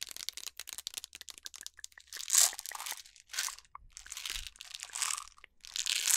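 A clear plastic jar with a yellow lid, full of jelly beans, is shaken and rotated by hand close to the mic so the candies rattle inside. Quick, dry clicking patters at first, then gives way to several bright, crunchy swells of rattling. The sound is almost entirely high-pitched, with very little low end.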